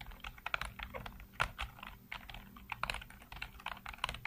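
Fingertips type rapidly on a black plastic backlit computer keyboard, producing a quick stream of short, clicky keystrokes with a bright edge and almost no ring. The irregular taps run continuously throughout, some landing harder and louder than others.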